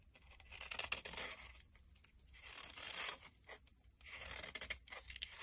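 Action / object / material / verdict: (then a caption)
scrape / bar of soap shaved with a metal blade / soap / none. A solid brown bar of soap held in the hand is scraped and shaved with a metal blade. Three bursts of dry, crisp scraping rise and fade with quiet gaps between them, the sound mostly bright with little low end.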